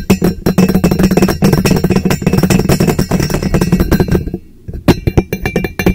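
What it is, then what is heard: Empty hollow steel tumbler. A teal powder-coated stainless steel insulated tumbler, hollow and empty, sits upside down over the microphone and is tapped with fingertips and nails on both sides. Quick, dry taps come in fast, uneven bursts over a low, hollow, boomy resonance, with bright clicks from the nails. The tapping pauses briefly near the end before resuming.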